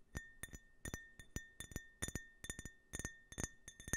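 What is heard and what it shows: A small, empty, hollow drinking glass with a red-white-blue stars-and-stripes print is held in one hand while the fingertips and short nails of the other hand tap it. About 18 light taps come in quick, uneven clusters. Each gives a bright clink with a clear ring near 1.8 kHz and a faint higher overtone, and the ring fades within about a tenth of a second.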